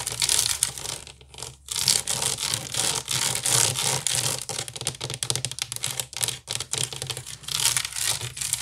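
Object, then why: Woven wicker basket. Long nails scratch and tap quickly across the woven side of a large, hollow wicker basket. The result is a dense, bright, dry crackling rasp with little low end, broken by brief gaps between strokes.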